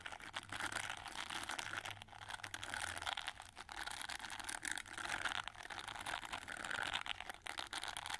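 Fingertips and nails rub and scratch the dense red plastic bristles of an oval, gold-framed plastic hair brush. The result is a steady, bright, crinkly scratching with fine crackles and quick flurries of ticks through the mid and high range, with little low end and no lingering ring.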